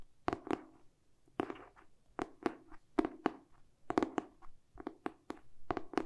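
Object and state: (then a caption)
Hardcover book. Fingertips and short nails tap and scratch the glossy cardboard back cover of a hardcover book held in both hands. About 17 quick, dull taps come in small clusters, each with a hollow low-mid tone that dies away almost at once, while faint scratching fills some of the gaps.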